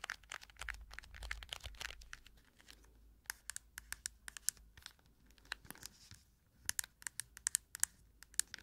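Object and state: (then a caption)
Plastic cushion compact case tapped and scratched with nails. Long nails tap and scratch a round cushion compact case, first on its front and then on its smooth plastic underside with a printed label. Sharp, bright clicks and scratchy rustles come in quick bursts over a quiet background, with short pauses between clusters.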